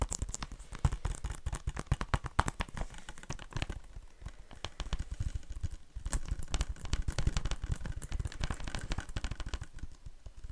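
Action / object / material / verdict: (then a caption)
tap / plastic Blu-ray case / plastic / cracked. Fingertips tap rapidly on a cracked plastic Blu-ray case for the horror film "It," producing a dense run of quick, dry, low-heavy clicks with occasional sharper bright accents. A loose broken piece makes the taps less clean, adding a slight ring.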